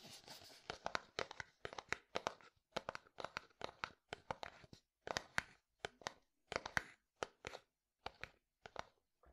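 A medium, hollow, white translucent frosted plastic bottle is held sideways and tapped with the fingertips. It gives a long run of quick, dry, clicky taps in uneven bursts, each dying away almost at once with no ring.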